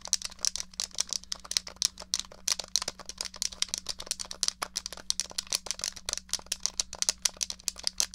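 Long nails tap rapidly on the case of a small, hollow, grey plastic SNES controller, making a fast, uneven stream of dry, bright clicks with almost no ring. A faint, steady low hum runs underneath.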